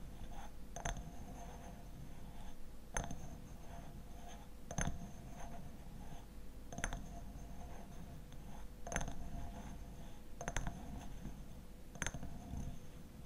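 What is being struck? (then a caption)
Glass bottle. A glass honey bottle with a black lid is tapped in a slow series of spaced, light taps. Each tap gives a short, bright clink that dies away almost at once, over a steady low rumble.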